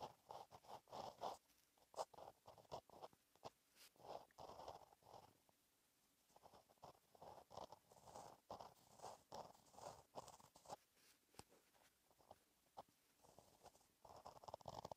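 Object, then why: Gel pen on paper notebook page. A gel pen tip scratches across a flat black lined paper notebook page while writing cursive. Quiet, soft scratchy strokes come in short bursts with small pauses between words, centered in the midrange around 900 Hz with a light bright hiss on top.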